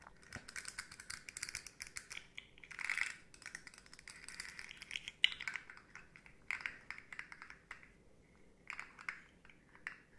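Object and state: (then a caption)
Plastic articulated slug toy. Long nails tap and scratch the hollow segments of a rainbow, segmented hard plastic slug fidget toy about 20 cm long. Quick, quiet, bright plastic clicks come in dense bursts with scratchy swishes between them. Each click dies at once with no ring and almost no low end.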